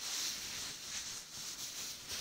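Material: Nothing is struck.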